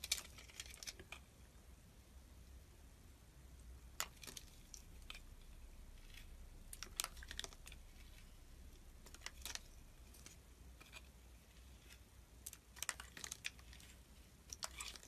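A utility knife blade slices and scrapes a solid orange soap bar held in the hand, carving pieces off it. Soft, crisp, high-pitched scraping and crackling strokes come in short bursts over a faint low hum.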